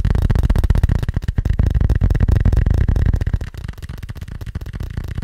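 A small, hollow, black fabric-covered hard glasses case is held in one hand and tapped fast with the fingertips and nails of the other. The result is a dense stream of quick, dull, low thuds with almost no ring, and the tapping grows quieter after about three and a half seconds.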